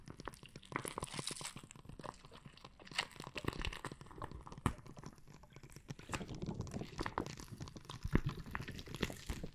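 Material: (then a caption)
Plastic, gel. A hand-sized clear plastic bag full of red gel water beads is squeezed, pressed and scratched with fingertips and nails. The result is a steady run of soft crinkling and crunching with muffled, squishy low-end thumps and occasional sharper bright scratches. Louder bursts stand out, around 3 seconds, just before 5 seconds and near 8 seconds.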